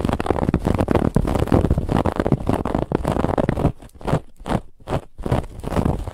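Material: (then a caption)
Woven fabric. Fingernails scratch the raised woven lattice band on a soft white pillow, making dense, rapid, crackly scraping with a heavy low rumble. After about three and a half seconds the scratching breaks into separate short strokes with brief quiet gaps between them.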